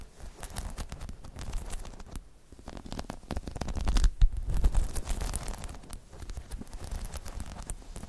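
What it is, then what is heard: Spiky rubber balance pod. A hollow, dome-shaped spiky rubber balance pod is scratched and tapped with long chrome nails, giving a dense run of quick, soft, irregular taps and scratches. The sound is mostly low and muffled, with brief bright clicks, and it swells to its loudest around the middle before settling back.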